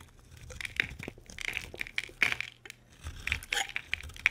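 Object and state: Dry bar soap being carved.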